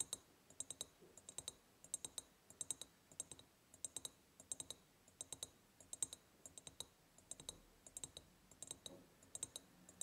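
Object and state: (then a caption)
Ribbed glass jar. Long painted nails tap quickly on the sides of a large, empty, hollow ribbed glass jar. Many crisp, bright clicks with almost no ring come in quick bursts, each tap fading almost at once.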